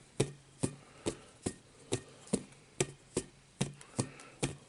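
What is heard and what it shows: Fingertips tap a rainbow-coloured hollow inflatable vinyl play ball, held close and turned between taps. Twelve short, hollow thumps come at a steady pace of about two per second, each with a bright snap at the start over a low, boomy body. Each tap dies away almost at once.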